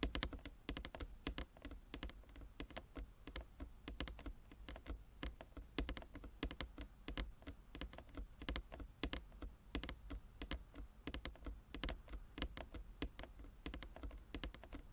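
Both hands drum fast on a large, flat wooden chess board with light and dark inlaid squares lying on a table, tapping with long fingernails and fingertips. The result is a dense, steady patter of quick, dry clicks with a soft, low wooden thump under them. Each tap dies away almost at once.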